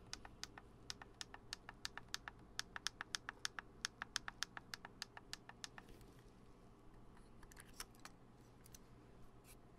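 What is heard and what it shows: Fingertips tap on the lens cap and body of a black Canon DSLR camera with lens, its hollow plastic housing held up close. A quick, even run of short, dry, bright clicking taps with no ring continues for about six seconds, then gives way to sparser, fainter taps over a steady low hum.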